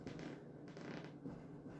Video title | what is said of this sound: G's World- Baking bread | if it sounds hollow that's a good indication that it's done